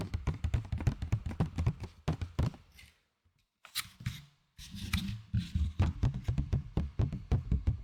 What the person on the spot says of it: C'est pas le meilleur plastique que j'ai vu. Avec des gobelets, c'est bien mieux.